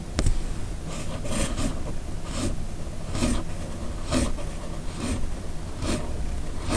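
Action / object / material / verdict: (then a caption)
scrape / paper sheet and steel fountain pen nib / paper / none. The steel nib of a red fountain pen scratches across a flat white sheet of paper in continuous cursive writing strokes. Bright, raspy scratches come in a steady run of short bursts over a low, dull rumble.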